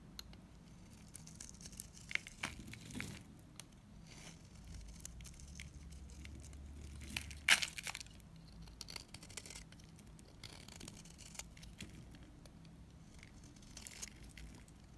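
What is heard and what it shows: A solid lilac bar soap held in the hand is scraped with a utility knife, peeling off curls. Soft, bright scraping and crinkling sounds come in many short strokes with small ticks, and a sharper crack near the middle.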